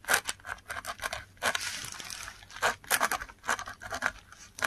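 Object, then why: Textured paper sheet scratched by a metal pen nib. A metal dip pen nib scratches across a flat sheet of textured, fibrous Korean paper while writing Korean letters. The sound is a quick series of dry, bright scratchy strokes with brief pauses between them, and a longer hissing scrape in the middle. It is quiet and thin, with almost no low end.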